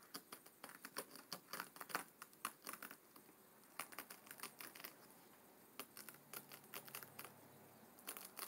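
Short fingernails of both hands scratch along the stacked paper page edges at the front of a closed, thick hardcover book resting on a wooden table. Quick, dry, bright scratching ticks come in rapid clusters, with a quieter stretch in the middle before the scratching resumes. Each stroke cuts off almost at once, leaving a soft, close, papery rasp.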